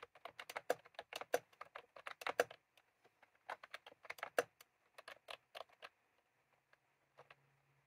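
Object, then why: Plastic round-key keyboard. Fingertips type on a white and cream plastic retro keyboard with round keycaps, with a small clip microphone resting on the keys. Quick, crisp clicky keystrokes come in rapid bursts with short pauses, then thin out to a few scattered taps near the end over a faint low hum.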